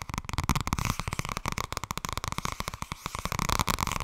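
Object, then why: Softcover paper book. Fingers tap rapidly on the softcover book "Blijkbaar wordt het toch ergens als je er niets aan doet." The taps land in a dense, uneven stream of short, dull thuds with a soft papery midrange and almost no ring.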